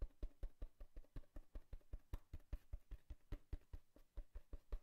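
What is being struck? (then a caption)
Cardboard box. Fingertips tap and scratch a hollow brown cardboard box with a torn surface layer. About 25 quick, dull, low thuds come in a loose, uneven rhythm, each dying away almost at once, with faint scratchy rustle between them.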